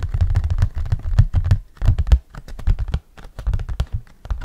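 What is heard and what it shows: An orange hard plastic flying disc, held in both hands, has its surface and rim tapped and scratched with fingernails. The result is a rapid, uneven stream of short, dry clicks and taps over a hollow, low thump, with brief scratchy bursts and quick pauses between clusters.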